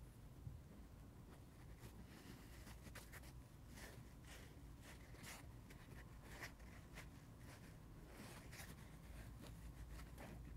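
Fingertips and nails tap and scratch a dry, solid, hand-sized rectangular kids' sponge with a yellow printed foam top and a blue porous layer. Soft, brushy scratching comes in short bright bursts over a steady low rumble. The result is quiet, textured friction sounds throughout.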